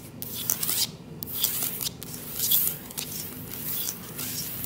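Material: Wood.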